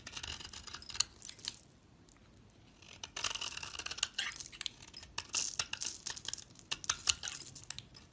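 A utility knife scrapes the face of a solid dark brown oval soap bar with a stamped logo, held in hand, peeling it into fibrous tan shavings. Bright, crackly scraping and shredding comes in dense bursts with sharp clicks, broken by a near-silent pause around two to three seconds.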